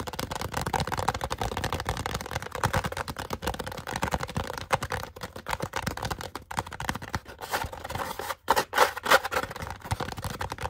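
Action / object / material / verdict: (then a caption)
tap / foam cup / polystyrene foam / none. An upside-down, small, hollow white polystyrene foam cup with a face and a name drawn on it is held in both hands and rapidly tapped and scratched with fingertips and short nails. The result is a dense, continuous run of dry, hollow taps and scratchy rasps with a mid-range tone, broken by a couple of brief pauses near the end.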